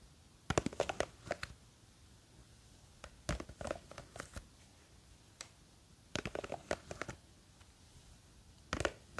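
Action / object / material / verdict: scrape / plastic jar of gel beads / plastic / none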